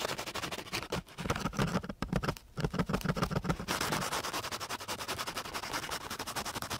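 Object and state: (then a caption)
Coarse sandpaper scraped with a wooden stick. A flat, gritty sheet of coarse sandpaper is rubbed with the side and end of a flat wooden stick. It makes a quick run of rough, scratchy strokes with a low rasping body and a bright, hissy top. There are brief pauses near the first and third seconds, and then a steadier, brighter scraping carries on to the end.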